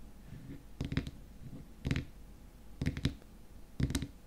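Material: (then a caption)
Plastic. Fingernails tap the edge and top of the frosted white plastic lid on a small glass cream jar filled with cream. Four short bursts of quick, quiet taps are heard, each a dull, low click with a brief bright tick. The taps die away almost at once, with no ring.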